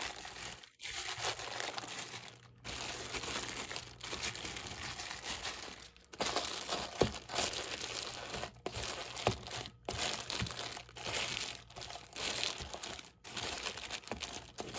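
Fingers squeeze and rub the plastic film wrapper around a stack of clear plastic cups, giving bright, dense crinkling. The sound comes in bursts separated by brief pauses, with occasional sharper crackles throughout.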